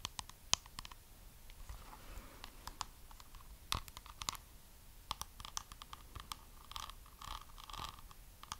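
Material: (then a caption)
Faux pearls. Long nails tap and scratch a small, hollow rectangular box covered in white faux pearls and glitter. The result is a quiet, irregular run of sharp, bright clicks mixed with soft scratchy rustling, with each tap dying away almost instantly.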